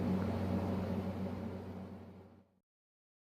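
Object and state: Nothing is struck.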